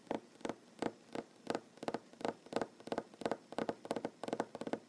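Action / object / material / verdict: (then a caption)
tap / wooden tabletop / wood / none. Fingernails of one hand tap quickly on a large solid wooden tabletop. The taps are short, dry knocks with a mid-range body and bright clicky edges, landing in quick, uneven bursts about three per second. Each tap dies away almost at once, with no ring, against a quiet background.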